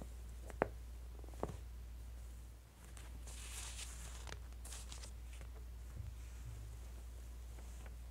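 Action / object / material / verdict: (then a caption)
scrape / thin glossy paper catalog pages / glossy paper / none. Fingertips and then a flat palm press and rub the pages of an open, thin glossy-paper J. Jill women's clothing catalog on a table, long nails graze the paper, and the hands squeeze the edges while the same spread stays open. Over a quiet, steady low hum, two sharp ticks come near the start, followed by soft, bright rustling and scratchy swishes of the paper.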